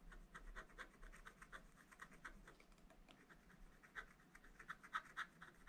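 A wooden stylus held in the fingers scratches lines into a black wax-coated scratch-art page in a small spiral-bound pad lying on a table. The result is a quiet, dry run of short, scraping strokes at about four per second in an uneven rhythm, with a papery midrange rasp. The strokes grow a little louder and sharper toward the end.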